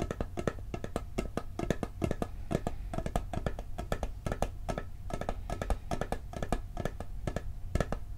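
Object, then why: Steel cookie tin lid. A round, hollow, blue steel cookie tin has its lid tapped quickly with fingertips and nails. The result is a dense, steady run of short, dry taps with a low hollow body and clicky bright edges that barely ring.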